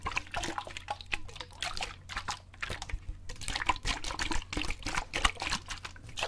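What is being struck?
Plastic water bottle with water.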